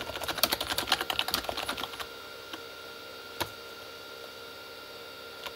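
Both hands type fast with their fingertips on a full-size Corsair K35 plastic membrane keyboard with red backlit keys, sitting as a solid desk device. A dense burst of quick, bright plastic key clicks fills the first two seconds, followed by a few scattered single taps against a quiet background.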